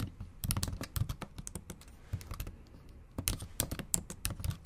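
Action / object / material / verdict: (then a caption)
tap / keyboard with plastic keys / plastic / none. Long acrylic nails tap quickly across the black plastic keys of a MacBook Pro keyboard set in an aluminum body, typing in Japanese. Sharp, bright clicks come in uneven bursts over a soft low thump, with a quieter pause in the middle before the fast typing resumes.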